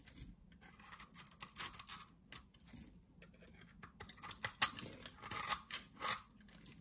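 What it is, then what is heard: Bar of soap being cut. A utility knife shaves and cuts the surface of a solid cream-colored soap bar held in hand. It makes soft, dry, bright scraping and crisp cutting sounds in short bursts with quiet gaps, the loudest near the middle and later part of the clip.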